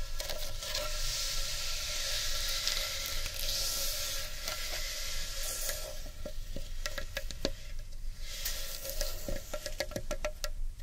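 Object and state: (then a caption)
Carved wooden bowl being scratched. Long painted nails and fingertips scratch and rub the inside and rim of a large, empty, rough-edged hollow carved wooden bowl. A steady bright, grainy scratching hiss fills the first half, with a faint tonal hum near 550 Hz underneath. In the second half it turns into a quieter rubbing broken by sharp, brief clicks and taps.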